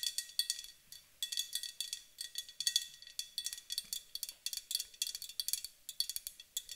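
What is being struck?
Aluminum aerosol spray can.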